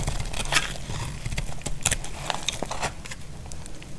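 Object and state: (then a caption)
Dry bar soap being shaved. A utility blade shaves the edges of a solid, dry brown bar of soap, making a string of short, crisp scraping crackles. Bright, brief shaving strokes rise over a steady low rumble.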